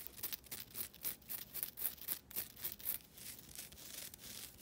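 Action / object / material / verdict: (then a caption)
scrape / synthetic nylon scouring pad / nylon / none. A flat, thin, solid rectangular green nylon synthetic scouring pad, held in both hands, is scratched with long nails. Quiet, bright, hissy scratching strokes repeat in a loose rhythm, each rasp swelling and fading quickly with little low end. Toward the end the strokes blur into a steadier rubbing.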